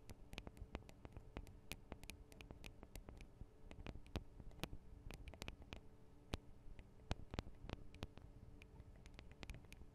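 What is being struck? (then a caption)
Small metal microphone capsules. Long acrylic nails tap quickly on the tops of the small metal microphone capsules of a Tascam DR-40 recorder. The result is a quiet, continuous patter of dozens of sharp, very short clicks with a bright edge over a low, dull thump, some taps noticeably louder than others.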